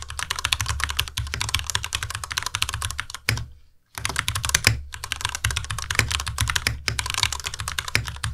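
Fingertips of both hands type steadily on a compact white Ducky Miya Pro mechanical keyboard with Cherry MX Red switches, white plastic keycaps, RGB backlight and a solid body resting on a desk mat. Rapid, dense keystrokes produce bright plastic clacks over a low thocky thump, each dying away almost instantly. The typing pauses briefly just past the three-second mark before continuing at the same pace.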